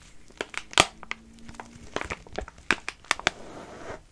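A filled, soft plastic pouch of wet wipes is held in both hands while fingers crinkle and squeeze it and nails scratch across the plastic film. Bright, dry crackles and sharp clicks come in quick uneven bursts over a soft rustling bed, with a faint low steady tone partway through. Each snap dies away almost instantly.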